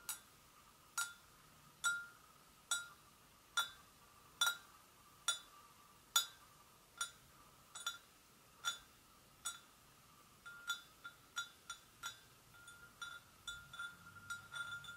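Long acrylic nails tap lightly on the sides of an empty, hollow, medium-sized white porcelain gravy boat. Bright, short clinks ring with a steady tone near 1.2 kHz and high overtones, coming at a slow even pace at first and then faster and quieter toward the end.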